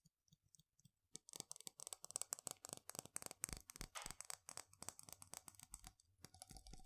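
A medium glass jar with a gold metal screw lid, full of dried mung beans, is tapped on its glass sides with long fingernails. A few soft, sparse taps give way to a rapid run of bright, crisp clicks that die away instantly, with a faint rattle underneath.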